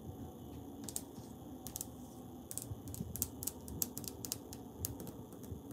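Fingers tap and scratch on tiles on a wall, producing sharp, bright clicks scattered over a low, steady rumble. The taps come in irregular bursts, some in quick clusters, each dying away almost instantly.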